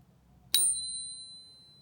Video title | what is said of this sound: Ping Test Silver Bars - The Shiny Pingy Fake | it does sound pretty close to a 925 silver coin